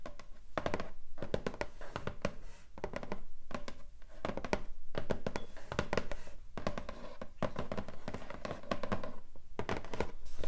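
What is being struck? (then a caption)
Cardboard box. Long nails and fingertips tap and rub the lid of a long, flat, hollow pink cardboard keyboard box. A dense, steady run of quick, dull taps and soft thunks is heard, mostly low and hollow-sounding, with short scratchy rubs between them and very little ringing after each hit.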